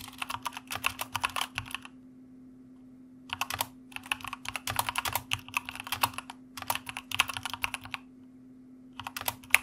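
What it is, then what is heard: Mechanical keyboard. Two hands type with fingertips on a white plastic mechanical keyboard with a red backlight, producing bursts of rapid, bright, sharp key clicks. The typing pauses briefly near the two-second mark and again near eight seconds, while a faint steady low hum runs underneath throughout.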